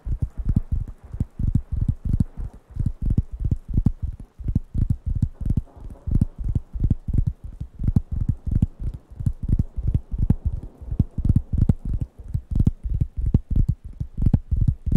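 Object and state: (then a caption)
Wooden coaster pad. Fingertips tap the flat surface of a large, thin, round, light-brown wooden coaster pad held in one hand close to the microphones. A quick, uneven stream of soft, dull taps follows, each a short low thump around 113 Hz with a faint click at the start. The taps die away at once, with no ring.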